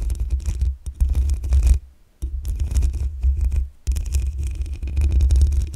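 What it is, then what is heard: Metal microphone mesh grille. Long acrylic nails scratch and tap the black metal mesh grille on the hollow head of a desktop condenser microphone. The sound is a close, boomy scraping with a strong low rumble around 80 Hz and a bright, fizzy texture on top. It comes in three bursts separated by near-silent gaps.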